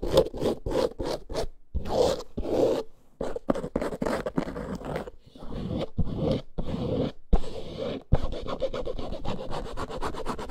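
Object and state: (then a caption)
Faux snakeskin leather handbag. Long nails scratch quickly along the side and bottom edge of a small, boxy, snake-print faux leather handbag lying on fur. The result is a run of short, dry, rasping scrapes in quick bursts, separated by brief pauses. The sound is full in the low and mid range, with a thin airy top.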